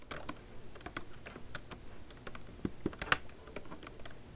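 Long pointed acrylic nails type rapidly on the hard plastic keys of a black laptop keyboard set in a thin, hollow laptop body. The result is a quick, uneven run of sharp, bright clicks over soft, low tapping thuds, each hit dying away almost at once.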